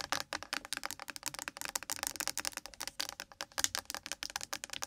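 Long acrylic nails tap fast on a small, hollow, partly full blue plastic Nivea sunscreen gel bottle lying on its side on a microphone. About 31 rapid, dry, bright clicks follow one another with almost no ring and very little low end.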